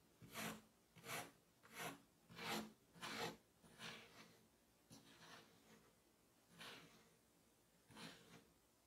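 A metal melon baller with a red handle scrapes and scoops through a solid mound of moldable red kinetic sand resting on a black surface, rubbing and cutting into it. Each pass makes a soft, gritty, broadband rasp that rises and fades quickly, with a bright hiss on top. The strokes come in a steady rhythm at first, then grow quieter and more spaced out.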